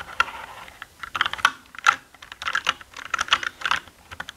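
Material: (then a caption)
Plastic. Fingertips press and type on the plastic keycaps of a black mechanical gaming keyboard. The result is a quick, uneven run of short, dry clicks and clacks centered around 1.3 kHz, with bright edges and almost no low end. Brief pauses fall between the bursts of keystrokes.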